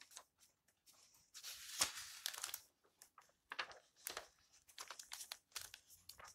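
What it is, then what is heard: Old paper book, pages turned. Fingers turn and rustle the yellowed paper pages of a thick old open book. Quiet, crisp crinkling and papery swishes come in short bright bursts with brief silences between them, and a louder, longer rustle builds near the start.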